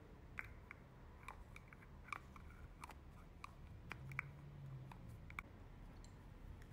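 A hollow, hand-sized white plastic thermal water spray can is tapped and scratched with long manicured nails. Quiet, sharp clicking taps with a bright, hollow ping near 2 kHz are scattered over a soft low rumble, with faint scratching in between. Each tap stops almost instantly, with no lingering ring.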